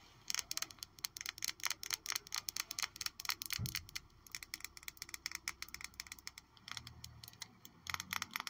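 A glass Miss Dior Blooming Bouquet perfume bottle, still holding a little perfume and with a houndstooth-like texture on its base, is tapped repeatedly. The taps are rapid, bright, and clicky, with very short ring.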